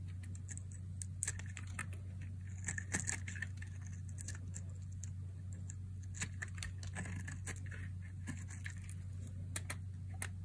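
A metal utility blade carves and slices chunks off a palm-sized, solid, translucent red striped bar of dry soap held in a hand with long nails. Many sharp, bright clicks and crisp scraping snaps come quickly over a steady low hum, each cut dying away almost instantly.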